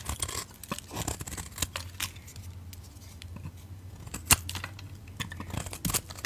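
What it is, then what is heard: Soap bar being carved. A utility knife blade carves thick chunks and curls off a solid, rectangular red soap bar held in the hands. Short, dry, bright scraping and crackling cuts come in a quick, uneven series over a low steady hum, with one sharp snap standing out near the end.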